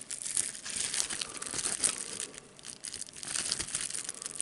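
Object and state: Plastic bubble wrap being crinkled.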